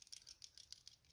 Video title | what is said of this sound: 2 Cool EDC Tools - Big Idea Design Bit Bar Inline and Ti Wrench | it rattles just a little bit